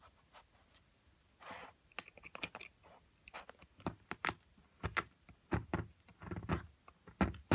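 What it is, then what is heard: Plaster block being chiselled. A metal chisel chips and scrapes at a solid plaster block from an amethyst crystal excavation kit, with a pile of plaster flakes around it. Quiet soft scraping gives way to a series of short, dry, bright clicks and taps that die away almost instantly, mixed with gritty rasps of scraping.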